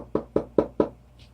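Knocking on a resin-coated acrylic painting on canvas gives four short, firm knocks with a mid-pitched tone around 430 Hz and very little ring. The resin finish sounds harder and firmer than other varnishes, with less give.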